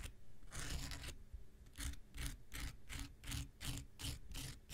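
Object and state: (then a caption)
Foam nail buffer block scraped with a blade. An X-Acto knife blade scrapes across a small, solid, rectangular pink foam nail buffer block with a gritty surface. The strokes come in a quick, uneven rhythm of dry, bright rasps over a low rumble, and each scrape stops short.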